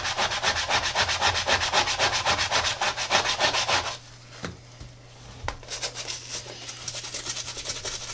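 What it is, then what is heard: Rubber sneaker sole being scrubbed. A soapy brush scrubs the treaded rubber outsole and then the side of a tie-dye Adidas sneaker, making fast, steady, bright scratchy strokes for about four seconds. After a brief quiet pause with a couple of light knocks, softer scrubbing resumes.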